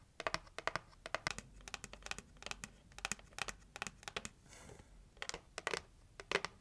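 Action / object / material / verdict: tap / heart-shaped cardboard gift box / cardboard / none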